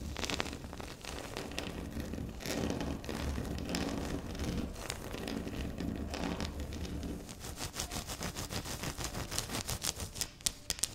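Long pink nails of both hands scratch and tap on a flat, solid, speckled granite-like tabletop. Steady rustling scratches run over a low hum for about seven seconds, then give way to a rapid run of sharp, bright clicking taps.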